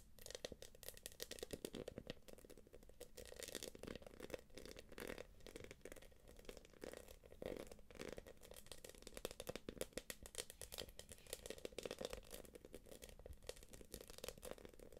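Long acrylic nails tap and scratch the quilted flap of a small light-blue quilted PVC jelly purse. Rapid, dense clicking taps mix with dry, crinkly scraping, centered in the mids with bright, crackly edges, and continue steadily throughout.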